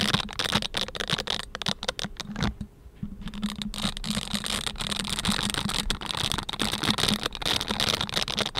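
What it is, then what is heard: Silicone scrubber gloves rubbed together. A pair of pink silicone dish-scrubbing gloves with bristle pads is worn on both hands, and the bristles of one glove rub and scratch against the fingers of the other. The result is a dense, bright crackling and scratching with many quick rustling strokes. There is a brief quieter pause near the middle, and a faint low hum sits underneath.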